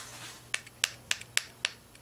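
A finger gently taps the thin, soft beryllium metal window of a Siemens X-ray tube, tapping lightly so it won't push through. Five sharp, bright ticks stand out clearly, with a couple of fainter ones between them, each dying away almost instantly.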